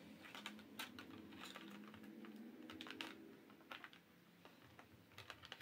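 An empty, hollow, flat clear plastic tray with rectangular compartments is held up and tapped by long acrylic press-on nails. The result is a run of quick, light, bright clicks with very short ring, some taps sharper than others, over a soft steady low hum.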